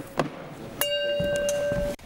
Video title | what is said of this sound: Can a Voice Shatter Glass? - Mythbusters | some of these are a little more dead than the others if you flick it now hear how that rings